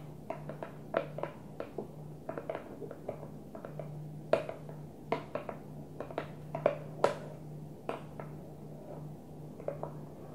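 Long nails tap on the closed blue plastic lid of a small, hollow, translucent plastic container, making quick, irregular clicky taps with a hollow mid-pitched knock and almost no ring. A steady low hum runs underneath throughout.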